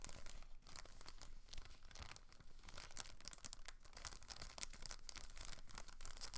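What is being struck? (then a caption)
Thin plastic film bag. A thin clear plastic packaging bag holding a blue plastic rotor guard from a Protocol Slipstream quadcopter stunt drone is held, rubbed and crinkled with fingertips and long nails. The result is continuous, quiet crinkling of the bag film with bright, crisp crackles throughout over a faint low rumble.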